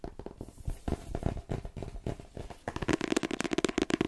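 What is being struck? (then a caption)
Paperback book with card cover. A paperback novel, "The Twins," with a glossy card cover and a solid paper block is tapped with fingertips and long painted nails on its cover and spine. Soft, dull, uneven taps and light scratchy rustling give way after a brief pause to a faster run of crisp, clicky taps with a hollow mid-pitched knock.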